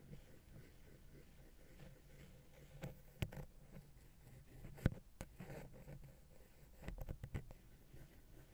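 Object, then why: Metal XY microphone capsule touched with a wooden pick. A wooden ear pick held in the fingers taps and scratches the side of a small, hollow silver metal XY stereo microphone capsule with grilles, mounted on a Zoom H6 recorder. Soft, low scratching and rubbing runs throughout, broken by sharp, dry taps with almost no ring. The loudest taps land around 3.2 and 4.9 seconds.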